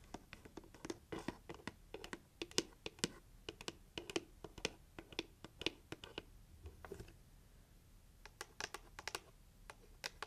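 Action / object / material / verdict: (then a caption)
tap / cardboard gift box / cardboard / none. Long nails tap the lid and side of a pink heart-shaped cardboard gift box held up in the air. Quick, dry, bright clicks come in irregular bursts, each dying out almost instantly, with a short soft scraping stretch before the tapping resumes. The sound is quiet and close, and it ends with a final flurry of taps.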